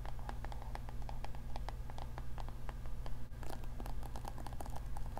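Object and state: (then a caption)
Plastic paddle hair brush. A navy-blue plastic paddle hair brush with a yellow handle has its bristles scratched by long nails and its solid plastic back tapped. The result is a rapid run of short, dry clicks and scratches over a steady low hum, with brighter, crisper taps in the second half.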